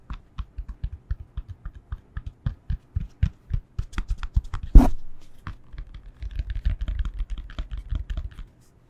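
A yoga block is tapped with the fingertips, giving a run of soft, dull, low taps that speed into dense clusters. Midway, one louder hit carries a brief bright edge. The rapid tapping then resumes and stops.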